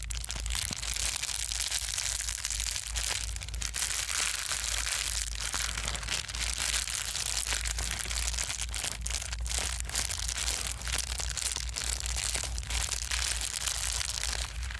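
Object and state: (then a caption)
Plastic bubble wrap being crumpled. A folded sheet of plastic bubble wrap is pressed and crumpled between the fingers of both hands. Dense, continuous crinkling and sharp popping crackle with bright, hissy highs, over a steady low hum.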